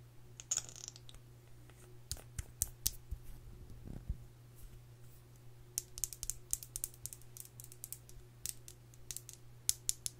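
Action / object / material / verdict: tap / plastic lip gloss tube / plastic / none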